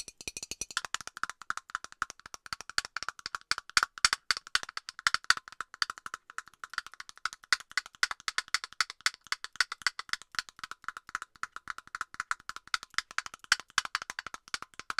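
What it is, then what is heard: Plastic aerosol can cap. Long nails rapidly tap the hollow plastic cap of an aerosol deodorant can, producing a steady, slightly uneven stream of sharp, dry clicks that sound like a wood block. Each click is short with almost no ring, centered around 1.4 kHz with bright upper edges and no low end.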